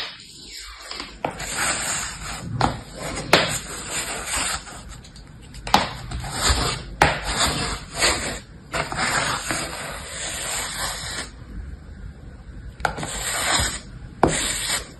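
Beige kinetic sand in a shallow mint-green plastic tray is scraped and smoothed with an orange plastic scoop while one hand steadies the tray. Soft, grainy scraping and rustling hiss runs throughout in uneven strokes, broken by occasional sharp, bright clicks as the scoop catches the plastic.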